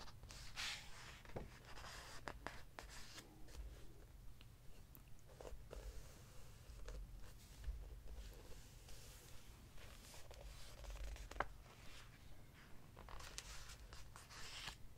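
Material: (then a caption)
Paper. A hand brushes across the glossy paper pages of a large open hardcover book, then flips a page over to the next spread. Soft, dry rustles and sliding swishes are punctuated by brief crisp flicks and crackles, all over a steady low rumble.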